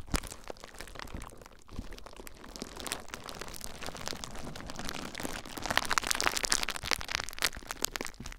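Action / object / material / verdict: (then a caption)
scrape / plastic bubble wrap / plastic / none. Fingertips with short nails press, scratch and pop clear plastic bubble wrap wrapped around a recorder. A dense, close stream of crinkling, crackling and sharp snapping pops with a bright, high edge grows louder and busier in the second half.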